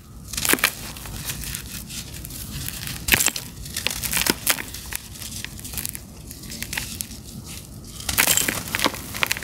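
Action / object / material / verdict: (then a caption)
scrape / sand-cement block / sand-cement / none. A fist-sized, solid, dry, gritty sand-cement block is held over a blue basin of cement powder and squeezed and rubbed by bare fingertips and palms until it breaks into two chunks. The chunks are then ground and crumbled against each other, making bright, gritty crunching and scraping with many short sharp cracks over a steady sandy rasp.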